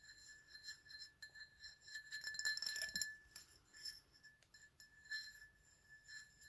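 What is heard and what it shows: A medium black ceramic mug with a white PlayStation logo and a handle, empty and held in the hand, is tapped with fingertips and nails. The repeated quick, uneven taps make light clinks with a short bright ring and a steady tone just under 2 kHz, getting busier and louder in the middle before settling back to softer taps.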